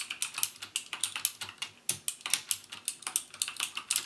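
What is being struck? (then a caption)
Plastic mechanical keyboard with clicky switches. Fingertips type steadily on a backlit plastic mechanical keyboard with plastic keycaps and Cherry MX Blue switches, pressing each key fully down. About 27 sharp, bright clicks ring out in quick succession, each dying away almost at once with almost no low end.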